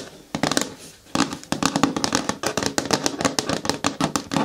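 Long nails scratch, rub and tap against the front wall of a hollow, medium-hard green plastic bin with a lid. A fast, irregular run of sharp clicks and short scraping bursts each carries a faint hollow resonance around 280 Hz and a bright, hissy top. Each decays almost instantly, with a brief quiet gap near the start.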